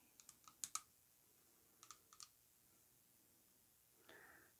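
Long acrylic nails tap the upper body of a tall, perfume-filled glass bottle coated in orange lacquer with gold metal rings, lying on a rug. Nine quiet, bright clicks come in two loose clusters, each dying almost instantly, followed by a soft, brief high hiss near the end.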